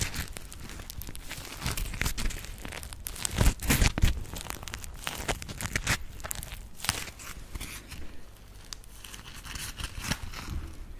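Long acrylic nails scratch the textured surface of a dry, palm-sized grey polymer foam smiley sponge (Scrub Daddy). The result is a dense, irregular run of dry, crinkly scratching and rasping sounds with bright hiss. The scratching swells into louder bursts around the 3 to 4 second mark.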